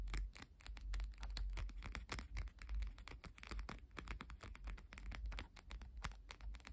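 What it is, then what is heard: Deck of coated paper playing cards. Long painted fingernails rapidly tap and scratch the top and edges of a small, solid stack of coated paper cardstock UNO playing cards held up close. The result is a dense run of quick, dry clicks and scratchy scrapes over a low, steady rumble.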